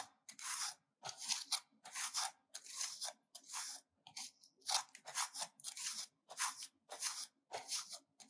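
A solid pink soap bar held in the hand is scraped with a stainless-steel hand grater in repeated grating strokes, producing curled shavings. Each stroke is a dry, bright, crunchy rasp with almost no low end, separated by short silences in an uneven rhythm of about one and a half strokes per second.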